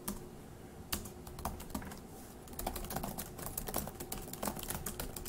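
Fast two-handed fingertip typing on a dark grey laptop keyboard with plastic keys produces a stream of quick, light, dry clicks with almost no ring. The taps start sparse and soft, then grow denser and louder from about the midpoint onward, over a faint steady low hum.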